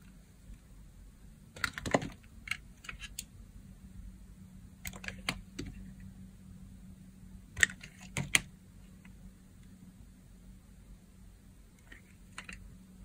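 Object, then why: Bar of soap cut with a blade. A blade shaves thick slices off a solid, hand-sized pale green bar of dry soap held in the palm. Each cut gives a short, crisp, bright crackling snap, coming in irregular bursts over a low steady hum. The cuts are dry and clipped, with almost no ring after each one.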